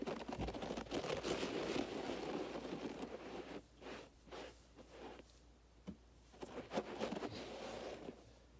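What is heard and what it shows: Both hands scratch a low-pile beige fiber carpet on the floor with fingertips and nails in repeated strokes. A dense, crunchy scratching rasp runs continuously for the first few seconds, then breaks into shorter bursts of scraping that fade softer toward the end.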